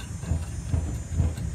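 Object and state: Nothing is struck.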